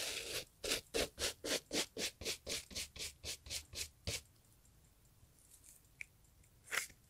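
A gloved hand brushes the leather upper of a brown Italian leather loafer with a bristle brush, making a rapid, steady run of about fifteen bright, scratchy rubbing strokes. After a short pause there is a faint tick, then one final brush stroke.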